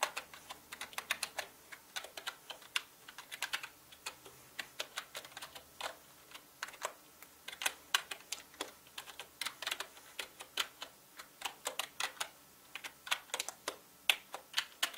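Fingertips of both hands type on a full-size black plastic mechanical gaming keyboard with plastic keycaps. A steady, irregular stream of short, bright clicks and clacks sounds, each dying away almost at once with no low thump.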